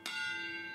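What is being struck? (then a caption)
Steel railway wheel. A steel railway carriage wheel is struck once with a hammer in a wheel-tapping test, where a change of note would reveal a fracture. The single strike gives a clear, bell-like ring with a bright tone near 1.4 kHz and stacked overtones. The ring sustains steadily to the end of the clip.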